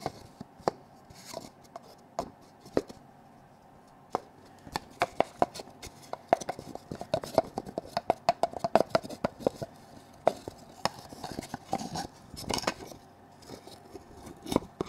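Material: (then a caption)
Wood. A hand-sized, hollow, painted wooden Russian nesting doll with smaller dolls nested inside is tapped with fingertips and nails and twisted open by hand. Sparse, sharp wooden clicks at first build into a dense flurry of quick taps in the middle, each with a short, hollow mid-pitched knock that dies away almost instantly. The taps thin out again toward the end over a quiet background.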